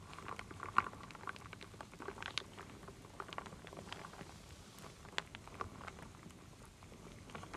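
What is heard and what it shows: A wooden spoon stirs and scoops solid wooden beads and acorn pieces in a full wooden bowl. Quiet, dense dry clicks and rattles patter continuously, with a few sharper clacks standing out around 0.8, 2.4 and 5.2 seconds. Each click dies away almost instantly with no ringing.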